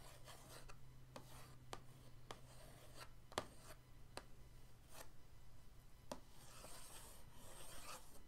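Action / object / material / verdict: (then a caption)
scrape / cardboard paint-set box / cardboard / none. The end of an orange paintbrush scratches patterns across the lid of a flat, printed cardboard paint-set box. Soft, dry scratching and rubbing is broken by brief sharp ticks over a steady low hum. The sound grows into a brighter, hissier rasp near the end.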